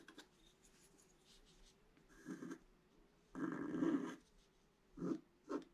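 A pointed wooden stick scratches a flat scratch-art page, a black coating over colored paper. It makes short, dry scratching strokes with one longer rasping stroke in the middle, all over a faint, steady low tone. The strokes stop cleanly, with very little ring after each one.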